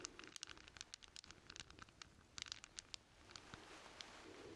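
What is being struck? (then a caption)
Steel chain links. A hand-sized bundle of solid steel chain links, cupped in both hands, is rubbed, jingled and shaken with the fingertips. Quiet, bright metallic clinks and tiny ticks come in rapid, uneven bursts over a soft rustling bed with almost no low end. The clinks thin out toward the end, leaving a steadier, gentle rustle.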